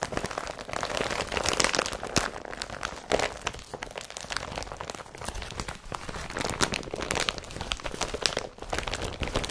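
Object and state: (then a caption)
Woven polypropylene carrier bag being crumpled. Fingertips and nails crumple and rub an empty, folded blue IKEA BRATTBY carrier bag made of woven polypropylene plastic. The sound is a continuous, dense crinkling with many sharp, bright crackles over a soft, broadband rustle.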